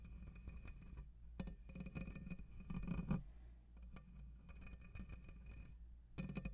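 Fingertips and nails of both hands scratch and rub the hollow metal mesh grille of a black USB condenser microphone. The result is close, boomy rasping in bursts with brief quieter gaps, heavy in the low end, with a faint steady high tone running underneath.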